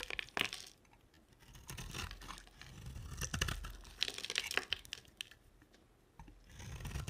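A utility knife blade scrapes and carves the flat cut face of a dry, solid white round soap with a dark glittery coating, held in the hand. Dry, bright crunching and crackling scrapes come in bursts, separated by quiet pauses.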